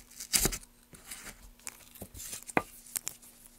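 A wooden-handled chisel held in gloved hands scrapes the surface of a solid pale basswood block, and a gloved hand brushes the shavings off it. The sound is a run of short, bright, crackly scraping and tearing bursts, loudest near the start, with quick sharp ticks between them over a faint steady low hum.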